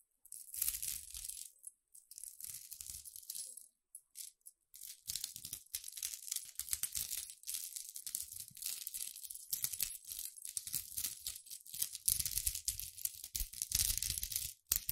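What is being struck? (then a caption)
Metal link chain. A silver link chain with small, solid metal links is held in a hand with long red nails beside a microphone and shaken, so the links clink against each other. The result is a dense, bright, high jingling that comes in bursts with brief pauses, with soft low thumps underneath.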